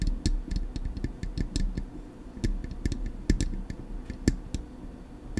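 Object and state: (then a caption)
Metal microphone body tapped with fingernails. Long acrylic nails tap on the hollow, silver metal body of a Blue Yeti microphone. The result is a rapid, irregular run of short clicky taps, each with a bright tick on top of a dull, hollow low thump that dies away almost at once.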